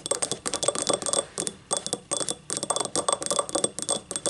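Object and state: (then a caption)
Ceramic cup scratched with nails. Long nails of both hands scratch and rub the ribbed outer wall of a small, hollow, empty yellow ribbed ceramic cup standing upright. The result is a quick run of dry, clicky scrapes and ticks in uneven bursts with brief pauses. Each stroke carries a thin, bright, high ring that dies away almost at once.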